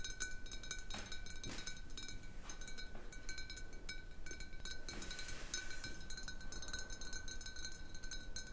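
Long painted nails tap and scratch a large, hollow, clear glass bottle that stands mostly empty on a wooden table with a little water at the bottom. Quiet, rapid, uneven clicks and scratchy brushes carry a short glassy ring, with a steady tone near 1.5 kHz and bright high overtones. A low, soft rumble sits underneath throughout.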